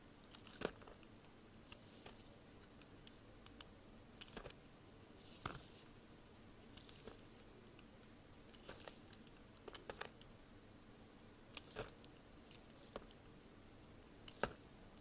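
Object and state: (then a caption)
Soap bar being carved. A solid cream soap bar held in gloved hands is carved with a metal blade. Soft, crisp crunching and scraping cuts rise as brief bright snaps over a quiet, steady hiss. The strokes come at irregular intervals throughout, with little ring after each.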